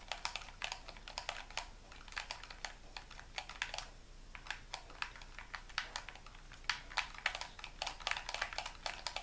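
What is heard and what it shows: Fingertips and thumbs press and click the buttons of a hollow white plastic gamepad held in both hands above a wooden table. The result is a rapid, uneven run of short, dry, bright plastic clicks with almost no ring. The clicks briefly thin out around the middle before picking up again.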